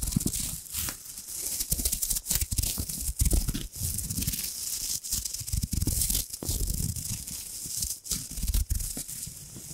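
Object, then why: Crumpled metal foil wrapper. A small, crumpled gold embossed foil wrapper is held beside the microphone while long nails and fingers rub and crinkle it. The result is a steady, dense crackle: bright, crisp rustling over a heavy low rumble from the close handling, broken by short dropouts.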